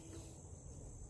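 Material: Nothing is struck.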